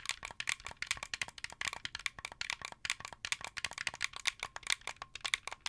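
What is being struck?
Plastic game controller buttons and shell.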